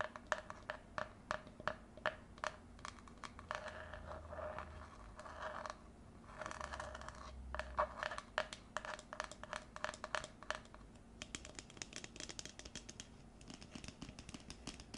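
Long nails tap and scratch the outside and rim of an empty red plastic tumbler held in the hands. Quick, dry clicks come in steady runs, broken by stretches of continuous scraping that carry a faint hollow tone near 600 Hz. The sound is quiet, with a bright edge on each tap.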